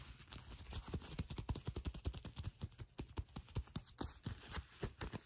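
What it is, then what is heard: Faux leather trousers tapped and scratched with nails. Long nails tap and scratch folded black faux leather trousers held in both hands, on the smooth, thin, flexible material. About two dozen quick, soft, dull taps land in an uneven rhythm, each with a low thump and a brief crisp edge over a faint scratchy rustle.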